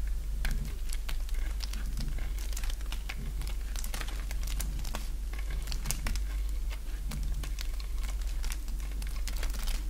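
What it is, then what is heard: Dry bar soap being carved. A partly carved bar of dry green soap, held in the hand, is shaved with a box-cutter blade. Dense, crisp scraping and cutting crackles come in quick bursts with bright, brittle edges over a steady low hum.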